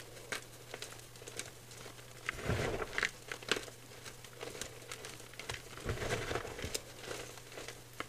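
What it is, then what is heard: Gym chalk powder being squeezed. Dry, crushed white gym chalk powder (magnesium carbonate) in a clear bowl is pinched and squeezed by fingers with nails. It gives soft, quiet crunching and crinkling with many short, bright crackles over a steady low hum, swelling into denser squeezes around the middle and near the end.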